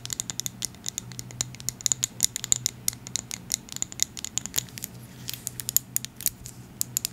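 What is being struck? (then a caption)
Small glass dropper bottle filled with oil. A small amber glass dropper bottle filled with oil, with a gold and white dropper cap, is tapped rapidly with long acrylic nails. The result is a dense patter of sharp, bright clicks with a faint glassy ring, over a low steady hum.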